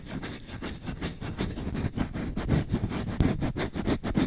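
Short-nailed fingertips scratch fast and roughly across the bowl of a solid wooden spoon. The result is a dense run of dry, rasping strokes with a low, woody body and little high brightness. The strokes pulse unevenly and grow slightly louder toward the end.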